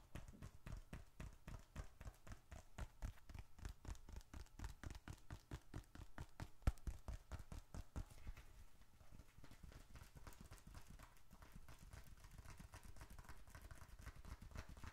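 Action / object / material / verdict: tap / leather bifold wallet / leather / none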